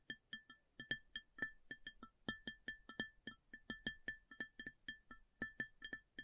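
Long natural fingernails of both hands tap the top surface of a large, empty, round white ceramic plate with a raised rim, lying upside down or flat on a table. About thirty quick, clicky taps ring briefly at a bright pitch near 1.8 kHz with high overtones, each dying away almost at once.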